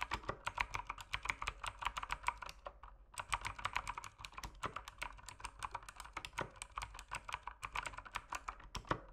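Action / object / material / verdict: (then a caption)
tap / mechanical keyboard with plastic keycaps / plastic / none. A mechanical keyboard with plastic keycaps is typed on with fingertips as its backlight dims near the end. It gives a fast run of sharp, bright clacks centered around 1 kHz, with a brief pause near the three-second mark before the typing resumes just as steadily. Each click is crisp and dies away almost instantly.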